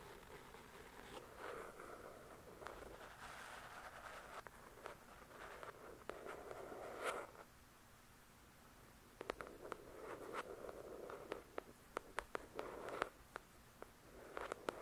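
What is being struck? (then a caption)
Paperback book, paper with card cover. Long pointed dark-red acrylic nails tap and scratch the glossy card cover of a thick paperback novel, a solid paper block lying flat on a fluffy white cloth. Soft, dry scratching swells in the midrange, broken by many crisp, short taps that die away at once. A near-silent pause in the middle is followed by a denser run of sharp taps.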